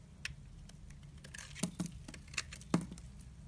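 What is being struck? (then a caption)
Soap bar cut with a blade. A utility knife blade slices and scrapes thin curls off the surface of a solid, pale-yellow rectangular bar of soap held in hand. Soft, irregular crisp scrapes and short clicks stand out over a quiet, steady low hum, with a few sharper, brighter cuts.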